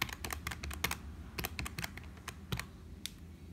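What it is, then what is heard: Plastic computer keyboard. A black HP plastic membrane keyboard with hollow keys is typed on with fingertips, then a finger taps single keys at the lower right. Quick, bright plastic clicks with almost no ring sound over a low rumble, and the strokes come fast and irregular before thinning to a few isolated taps.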